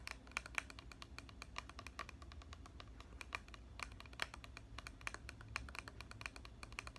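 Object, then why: Plastic spray bottle with liquid. A tall plastic body mist bottle filled with red liquid, with a clear plastic cap, is held in one hand and tapped by the fingernails of the other hand on both the cap and the body. The result is a steady run of quick, bright, dry clicks with no ring, over a faint low hum.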